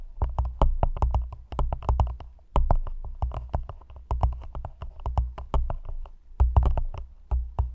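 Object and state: Empty thin plastic cup.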